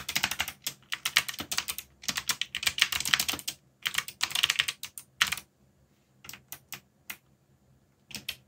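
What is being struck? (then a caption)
Mechanical computer keyboard with plastic keycaps. Fingertips, one of them bandaged, rapidly tap the plastic keycaps of a backlit mechanical computer keyboard with Korean/English legends. Bursts of bright, crisp clicking keystrokes are broken by short pauses, then a few isolated taps near the end.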